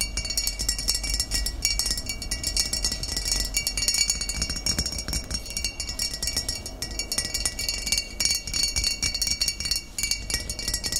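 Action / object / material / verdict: tap / glass bottle of cider vinegar / glass / none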